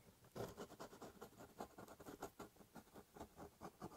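A ballpoint pen scratches lines along the top of a large corrugated cardboard box. Eleven quiet, dry scratching strokes come in a steady rhythm, each a short papery rasp centered in the mids with little low or high content.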